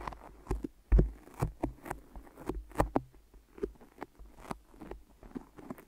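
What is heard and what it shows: Long nails and fingertips tap and press on the sticky surface of two binaural microphone ears wrapped in white adhesive tape. About sixteen short, soft taps with faint sticky crackles are heard. The taps are dull and low, with brief bright clicks at the points of contact.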